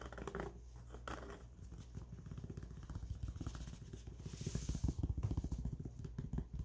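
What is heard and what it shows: Fingertips scratch the underside and edge of the fabric brim on a grey mesh-back trucker cap. The result is a quick, irregular run of soft, muffled scratches, heavy in the low end with almost no bright content, growing slightly louder toward the end.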